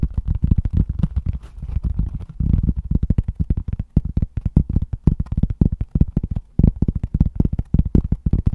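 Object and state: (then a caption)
Cork trivet. A round, flat, solid cork trivet held upright in both hands is tapped and scratched across its face with fingertips and short nails. A rapid, uneven run of soft, dull, low thuds follows, with brief scratchy stretches between them. Each tap dies almost instantly, leaving no ring.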